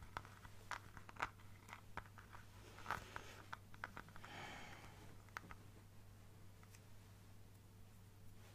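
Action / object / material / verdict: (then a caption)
tap / clear plastic bottle / plastic / none. An apparently empty clear plastic bottle with a white cap and a teal printed design is held in a hand and tapped and scratched with fingertips and nails. Sharp, dry plastic clicks and crinkly scratches come one after another, with a brighter rasping scrape near the middle. A steady low hum runs underneath.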